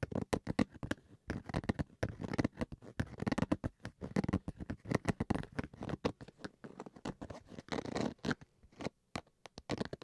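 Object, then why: Fabric-covered hard-shell carrying case. Fingernails scratch across the fabric surface and zipper edge of a black zippered Switch carrying case, fabric stretched over a hard shell. Rapid, dry scratching strokes come in dense bursts with brief pauses, with a soft, low-weighted texture and little ring after each stroke.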